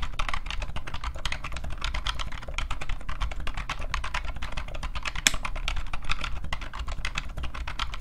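A new old stock IBM PCjr keyboard, with an off-white plastic case, hollow housing and rubber dome keys, is typed on by both hands, the fingertips pressing and tapping the keys. The result is a rapid, steady stream of short, dry plastic clacks over a low hollow thump, with one sharper clack partway through.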